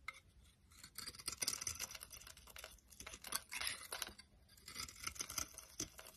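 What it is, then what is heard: Bar soap being shaved. A solid, dry green Brut soap bar held in the palm is shaved into flakes with a metal utility knife blade. The result is a run of quiet, bright, crisp scraping strokes with no ring.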